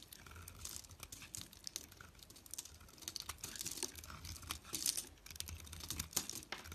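A metal utility-knife blade shaves and scrapes flakes off a small solid white bar of soap held in fingers with long nails, letting the flakes pile up below. The quiet, dense run of crisp, bright scratching strokes sounds like scraping rather than tapping, with short dry crackles and a faint low rumble underneath.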